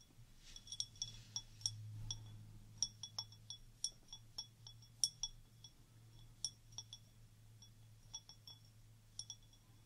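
Long orange nails tap the bowl and stem of a clear stemmed wine glass, partly filled with water and held up by its bowl. About two dozen separate, bright, high-pitched clinks ring briefly and decay quickly, over a faint steady low hum.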